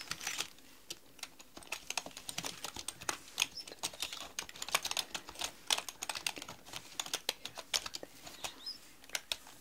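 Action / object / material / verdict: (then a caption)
tap / mechanical computer keyboard with plastic keycaps / plastic / none. Long nails type on a black mechanical computer keyboard with plastic keycaps, and by the end one hand is lifted while the other keeps typing. The clip is a quick, irregular stream of sharp, bright plastic clicks with almost no low end. Each click dies away almost instantly against a faint background hiss.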